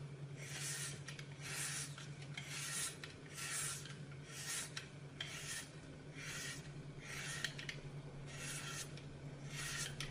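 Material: Floral foam.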